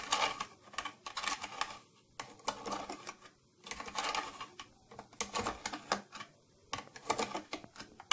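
Fingernails tap and scratch on the side panel and silver trim of an old, closed, round, hollow purple plastic tattoo kit case. Quick clusters of bright, clicky plastic taps come in bursts separated by short quiet pauses. Each tap dies away almost instantly with little low-end body.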